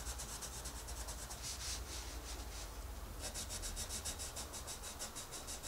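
A wooden colored pencil scratches and rubs across a paper coloring book page, coloring in a rabbit's ear. Soft, bright, papery strokes repeat in a steady back-and-forth rhythm, speeding into quicker, tighter strokes in the second half over a constant low hum.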